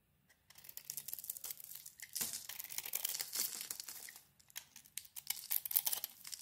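A steel utility blade scrapes and shaves a solid yellow bar of soap with a green speckled coating embossed "Hand wash," held in the hand. The sound is a quiet, dense, bright crackling and crinkling scrape, with rapid gritty strokes that swell and fade in bursts.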